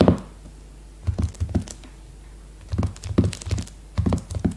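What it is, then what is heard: Plastic-wrapped hardcover notebook. Long red-painted nails tap and drum with both hands on a new A5 hardcover notebook, its glossy leopard-print cover still sealed in clear plastic film and lying flat on a woven placemat. Short, dull, low thunks come in quick clustered bursts with faint bright clicks from the nails and the film. Each hit dies away almost at once against the solid stack of paper.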